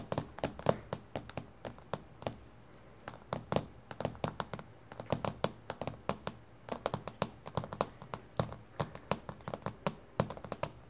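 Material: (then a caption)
Glass. Both hands tap on a flat, solid, reflective dark glass tabletop with long, glittery painted fingernails. Quick, irregular bursts of short, dry taps and clicks stop dead, with a soft low thump beneath the nail clicks. A brief pause falls before the tapping resumes.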